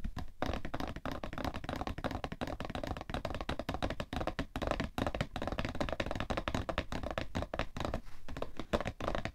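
A hollow cardboard tissue box, held at its sides, is tapped rapidly with fingernails and fingertips on its side and top. The result is a dense, continuous patter of short, dry, hollow taps with a low thudding body and a mid-range boxy tone that die away almost instantly.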